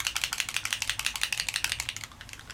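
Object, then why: Plastic ink bottle with metal mixing ball. A plastic bottle of pearlescent ink with a metal mixing ball inside is shaken hard, and the ball rattles in about 18 quick, bright, high-pitched clicks that fade slightly at the end. The shake stirs in the pearlescence, leaving the ink at the top mixed and no longer dark.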